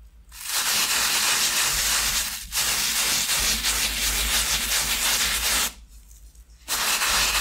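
A thin, solid foam shoe insole with a grey fabric top lies on a towel beside a second insole, while one hand steadies it and the other scrubs it with a wooden-handled bristle brush in repeated rubbing strokes. The scrubbing makes a bright, hissing, scratchy rasp that runs almost continuously, with a brief dip and then a short pause before the strokes resume.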